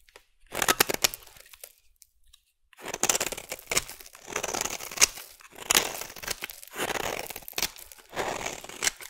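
A solid orange bar of soap is shaved into curls with a metal blade, with a different small metal tool used briefly partway through. Bright, dry scraping and crisp tearing strokes come in bursts, with a short silent pause early on before the shaving resumes in steady passes.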